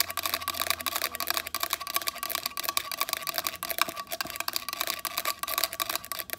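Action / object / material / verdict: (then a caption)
tap / small hard plastic device / plastic / none. A small black plastic square device with a circular ring face, held upright in one hand, is tapped and scratched on its face and edges with long pointed acrylic nails. A rapid, continuous stream of crisp, bright clicks and scratches is heard. Each tap stops dead with no ringing.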